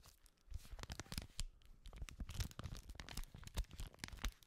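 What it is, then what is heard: Paper sheet crinkled. A single white paper sheet, held in both gloved hands in front of the microphone, is bent, rubbed and crinkled. The result is a dense stream of quick, dry crackles and crisp rustles, with broadband snaps reaching up into bright highs over a soft low rumble.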